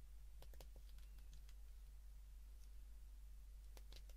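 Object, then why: Plastic flip phone keypad. A white plastic flip phone is held in the hands while its keypad buttons are pressed repeatedly with thumb and fingertips. Soft, sharp button clicks come in quick clusters near the start and again near the end, over a very quiet, steady low hum.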